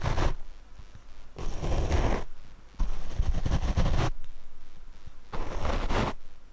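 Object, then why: Foam microphone windscreen. A paint brush is swept across the black foam windscreen of a Rode microphone, producing dense, low, rumbling scratchy bursts with a brushy hiss. The strokes come in repeated passes separated by short, quieter gaps.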